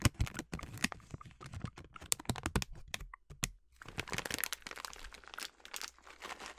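A full yellow plastic bag of sliced almonds is scratched with long nails, then squeezed and crinkled by hand. Rapid, sharp crackles and clicks come in uneven bursts, broken by a short near-silent gap around the middle. They then give way to a denser, continuous bright rustling crinkle.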